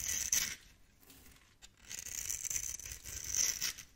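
A blade tool scores and scrapes small cubes off a solid, hand-sized bar of green and turquoise soap held in the palm. Dry, bright scratching and scraping come in two bursts with a quiet gap between them, and the sound is almost entirely high-pitched with very little low end.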